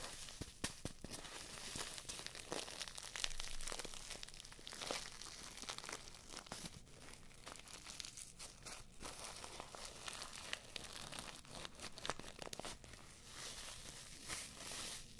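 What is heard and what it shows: A small filled paper tea bag on a string is squeezed and rubbed between the fingertips of both hands close to the microphones. The result is a steady stream of quiet, dense crinkling and crunching with a bright, papery hiss and a fine crackle.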